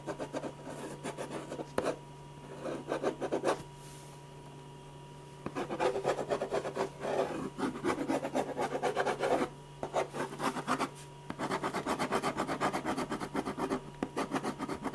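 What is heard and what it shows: A silver ballpoint pen scratches repeated hatching strokes across a large white paper sheet on a drawing board, shading the hair and face of a portrait. Quick, raspy scratching comes in bursts of about four strokes per second, with short pauses between, over a steady low hum.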